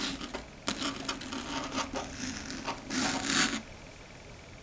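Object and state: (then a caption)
Chalkboard tapped with fingernails. Long red stiletto nail tips tap across a large, flat, dark gray chalkboard in fast, typing-like clicks. The clicks are dry and bright with almost no ring. They give way to a louder, hissing scrape-like swell before quieting and ending on one sharp tap.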